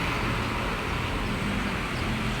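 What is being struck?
Nothing is struck.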